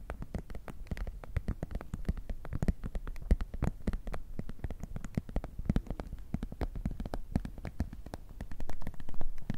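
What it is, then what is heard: Clear plastic pencil case. Long nails and fingertips tap and crinkle an empty-looking, flexible clear PVC zip pouch pencil case with a black zipper edge. The result is a steady stream of rapid, dry, short clicks and soft crinkles with a low, dull body, growing a little louder near the end.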